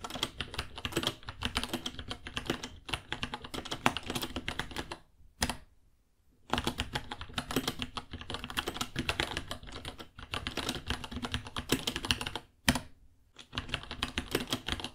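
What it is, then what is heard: Plastic mechanical keyboard. Fingertips type steadily on a white 66-key mechanical keyboard, about 30 cm long, with plastic keycaps, Gateron Brown switches and a hollow case, while its underglow changes color. It produces a fast stream of bright, clacky keystrokes with short, dry decay. The typing breaks twice into brief silences, each set off by a single sharper key hit.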